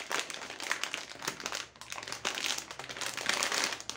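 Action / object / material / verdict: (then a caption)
shake / plastic foil bag of foil-wrapped chocolates / plastic foil / none. A medium green plastic foil bag of Riegelein Noisette, full of foil-wrapped chocolate balls, is held and squeezed by fingertips with long nails, then crinkled and shaken as it is turned over. It makes a dense, continuous, bright crackling and crinkling with almost no low end. There is a brief lull near the middle before the rustling swells again.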